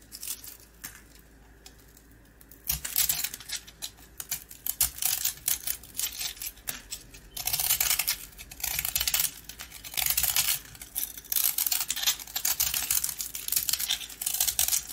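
A box-cutter blade scratches and cuts the remaining piece of a green-coated round dry rusk into crumbs. After a quiet start, bright, crisp scraping and crunching come in dense bursts of rapid strokes with little low end, and the rusk is reduced to crumbs.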